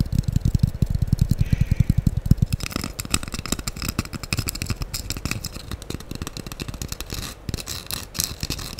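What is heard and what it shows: Long acrylic nails scratch across the rough surface of a light-blue porous foam sponge block held close over the microphone. It makes rapid, uneven, dull low rubbing thumps, with a brighter, airy scraping hiss joining in after the first few seconds and carrying on to the end.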